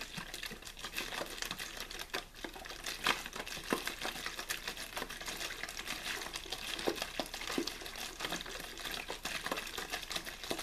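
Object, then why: Thin plastic water bottle. A clear, thin plastic water bottle with a blue label, hollow and apparently empty, is held in the hand and rapidly shaken and squeezed. The plastic gives a dense, continuous bright crinkling and crackling, full of quick sharp snaps that stop almost instantly. The sound stays at a fairly steady level throughout, with a few louder pops.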